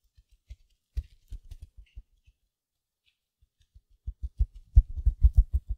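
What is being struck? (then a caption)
Mesh-wrapped foam sponge. A small silver glitter mesh-wrapped foam sponge is held beside the mic, scratched with long nails and squeezed. Soft, low, muffled scratchy bursts with faint bright crinkle come in a loose, uneven rhythm. After a quiet pause they return denser and louder toward the end.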